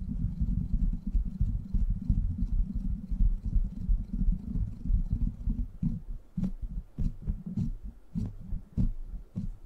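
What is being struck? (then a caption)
Steel mesh microphone grille. Fingertips and short nails scratch and tap the hollow, rounded steel mesh head of a silver microphone. For about six seconds there is a dense, muffled low rumble of scratching. It then turns into sparser, sharper taps that carry a brief bright click over the deep thump.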